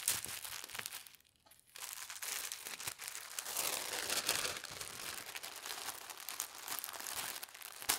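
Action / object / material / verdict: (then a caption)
scrape / thin tissue paper sheet / paper / none. A thin teal tissue paper sheet is folded over by hand, and its crease is pressed flat with the fingertips. Dense, bright crinkling and rustling fills the clip, with a brief quiet pause early on before the papery crackle resumes.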